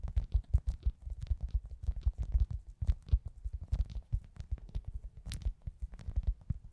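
A hand-sized, soft, solid foam pizza-slice squishy toy, held in both hands, is tapped and scratched with long acrylic nails. A rapid, uneven string of short, muffled, low thuds sounds, with occasional brighter scratchy swishes. Each tap dies away almost instantly, leaving a deep, padded patter.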